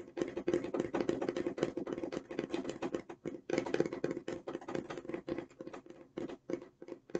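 Long nails tap and scratch the outer surface of an opened, hollow, medium-size light blue corrugated cardboard e.l.f. shipping box with a barcode. The result is a dense run of quick, dry taps and scrapes with a hollow, papery tone centred around 350 Hz. A brief pause falls near the middle, and the taps thin out toward the end.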